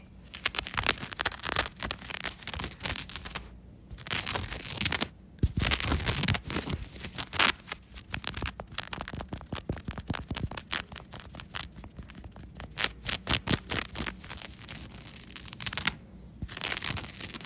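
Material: Cotton fleece.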